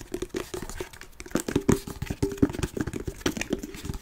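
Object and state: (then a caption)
Faux-leather-covered wooden chest. Fingernails and fingertips scratch and tap a large hollow treasure-chest box made of faux-leather-covered wood with metal studs and a latch. The result is a dense run of quick, dull taps mixed with soft crinkly scratching, each tap carrying a short hollow resonance around 280 Hz that dies away almost instantly.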